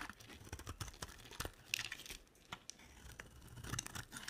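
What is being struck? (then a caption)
Solid soap bar. A utility knife blade carves and scrapes a rectangular olive-green bar of dry solid soap. The sound is quiet and bright: a steady run of short, crisp scraping and crackling cuts with no ring after each stroke.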